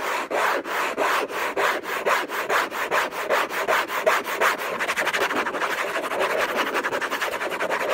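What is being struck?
Rigid cardboard gift box.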